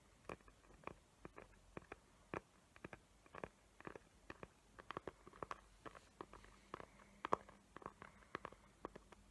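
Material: Cardboard.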